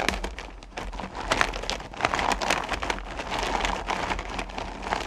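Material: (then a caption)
Candy, plastic. Both hands dig deep into and stir small solid candy corn pumpkins in a purple plastic bucket, with long nails rubbing against the candies. A dense, continuous rattling and clicking of the candies shifting against each other and the bucket is heard, bright and crackly, swelling and easing as the hands move.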